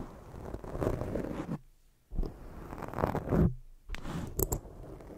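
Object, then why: Foam microphone windscreen. Long jeweled fingernails cover a black foam microphone windscreen and scratch it from the front, making a dense, scratchy rustle heavy in low, muffled rumble. The scratching runs in bursts, breaks off into near silence around the middle, then resumes with a few sharper scrapes toward the end.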